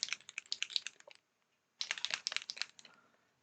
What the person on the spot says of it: You can hear me shaking it. It's got a ball bearing in there.